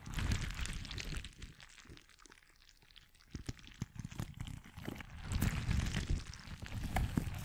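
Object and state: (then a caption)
Rubber stress ball filled with water-gel beads. A hand-sized, soft, clear rubber stress ball filled with orange and white water-gel beads is held beside the mic and squeezed and kneaded by both hands, with fingertips and nails working over it without touching the mic. It gives deep, wet squelching and squishing with scattered sharp clicks and taps. The sound is fuller at the start, thins to quieter ticking in the middle, then swells back into dense squishing near the end.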